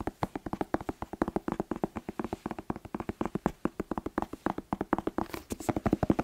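A whole, hollow red bell pepper with glossy, waxy skin is held in the hands and tapped fast with the fingertips. About fifty quick, dry, hollow knocks with a low-mid tone around 320 Hz come in a steady rapid stream, each dying away almost instantly.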